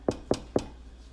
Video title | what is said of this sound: LEKKO Bake-a-long Day 3 to 6 | we're looking for that hollow sound